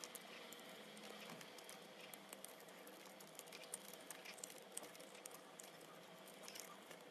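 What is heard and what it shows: A metal vegetable peeler scrapes and peels a hand-held, solid, round, purple speckled soap ball, lifting off curled shavings. The result is a quiet, steady, bright scraping texture dotted with many small, sharp clicks and crackles.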